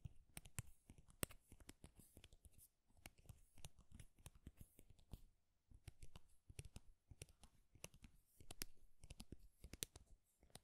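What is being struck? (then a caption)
Thin flat wooden craft stick. Fingernails scratch and tap along the length of a thin, flat wooden popsicle craft stick, small and solid. The quiet clip mixes dry, scratchy rustling with rapid, crisp little clicks that stop instantly, leaving no ring.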